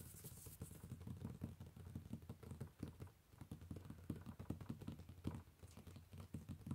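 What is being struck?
Paper sketchbook page.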